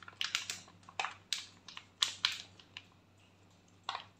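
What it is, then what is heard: Foil sheet mask packet. A foil face-mask sachet is held and crinkled by hand and tapped with fingernails. It makes a series of sharp, bright crinkling taps that die away almost instantly. A short quiet stretch comes before one last crackle.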